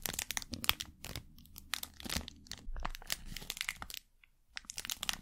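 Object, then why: Thin plastic wrapper packet. A thin printed plastic packet held in the hand is crumpled and crinkled with the fingers. It gives dense bursts of bright, sharp crackles with very little ring, a brief quiet gap near the end, then more crinkling.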